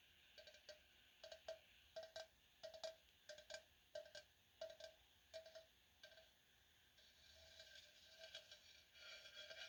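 Fingers tap a tall, pretty-shaped ceramic vase meant for fall flowers, which has a couple of small blemishes to be touched up with markers. Each tap gives a short, bright ringing tone around 645 Hz that fades quickly. Near the end the taps soften into lighter, hissy brushing sounds.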